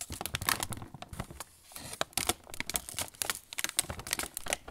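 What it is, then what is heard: Crinkling plastic snack bag. Fingertips squeeze and rub a sealed, medium-size Roland Bretzeli bag of glossy plastic film, full of pretzel sticks on an inner tray. The bag gives rapid, bright, sharp crinkling and crackling bursts with a brief quieter lull partway through.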